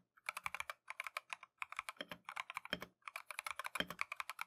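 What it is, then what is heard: Mechanical keyboard with plastic keycaps. A compact Keychron V1 mechanical keyboard with Tangerine switches and green-and-white Matcha plastic keycaps is typed on continuously with gloved fingertips. The result is a steady run of short, bright, crisp clacks with quick decay, grouped in bursts with brief pauses. A few deeper, fuller thocks stand out among them.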